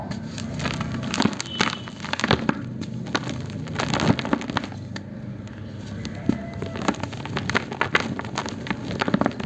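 A palm-sized solid block of dry grey cement is squeezed and crushed by both hands in a black plastic tub, with crumbled fragments and powder falling from the fingers. Dense crackling and gritty crunching run throughout, punctuated by sharp, brittle snaps that die away almost instantly over a low rumbling bed.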